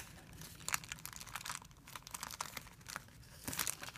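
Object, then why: Thin plastic film bag. Fingers pinch and crumple a thin, clear plastic film bag into a bunch on a white surface. The bag gives off a steady, bright crinkling and crackling, with louder bursts near the start and again near the end.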